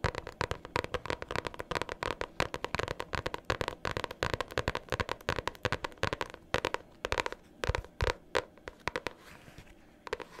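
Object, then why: Hardcover notebook tapped with metal-clip-tipped nails. A pink hardcover notebook, held upright, has its cover tapped and scratched by long nails fitted with metal paper clips. Rapid, dense clicks and crackly scratches run throughout, with a clacky midrange tone and bright, sharp transients that die away almost instantly.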